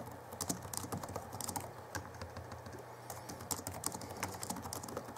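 Both hands type with their fingertips on the backlit chiclet keyboard of a 2011 Alienware M11x laptop with plastic keys. Rapid, bright, short key taps patter over a steady low hum throughout.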